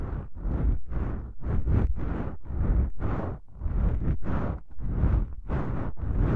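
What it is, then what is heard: Foam microphone windscreen being rubbed. A fingertip with a long pink nail rubs and presses a pair of small, soft, porous black foam windscreens on a stereo microphone. The result is a string of deep, muffled, rumbling bursts that swell and fade in uneven strokes, heavy in the low end with almost no bright content.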